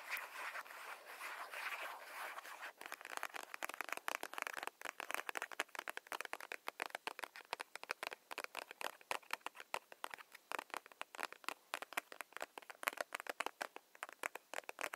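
A soft plastic hand cream tube, held horizontally, is tapped with long nails along its body. A brief soft scratchy rustle gives way to a long run of rapid, dry, clicky taps that are bright and thin with no low end, each one stopping almost instantly.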